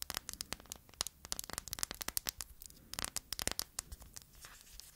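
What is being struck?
Hard plastic phone case with metal corner guards.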